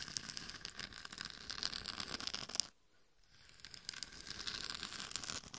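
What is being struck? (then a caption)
Glitter-coated plastic mannequin head. Long nails scratch the sides and back of a hollow, glitter-covered mannequin head microphone, making dense, bright, crackly scratching with small sharp ticks. The scratching stops for about half a second near the middle, then resumes at the same steady level.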